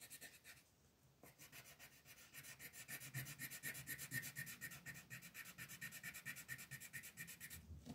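A green colored pencil shades a flat paper coloring page on a table with fast back-and-forth rubbing. After a brief pause near the start, the strokes come in a steady, rapid scratchy rhythm with a bright, papery hiss and a faint whistling tone near 1.8 kHz.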